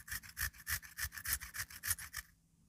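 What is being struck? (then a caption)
Raw potato on a metal grater. A peeled, solid raw potato is scraped by hand, again and again, across the metal surface of a small pink-framed grater, with shreds building up. The result is a quick, steady series of rasping, scratchy strokes, bright and high with a grainy low thump on each pass, before it stops and falls quiet.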